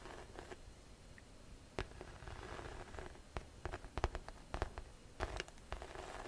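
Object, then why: Pebbled faux leather tote bag. A hollow grey-beige grained faux leather tote bag is tapped and scratched on its side with long nails. Soft, dry scratching runs under a series of sharp, quick clicks and taps that peak at about 4 and 4.6 seconds. The sound stays quiet and close throughout.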